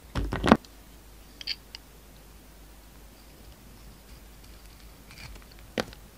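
A pink utility knife carves the outer layer off a solid, palm-sized, embossed purple Duru soap bar held in the hand, revealing a pink core. A burst of dry scraping cuts comes first, then a few faint ticks and, near the end, one short, sharp slice against quiet background hiss.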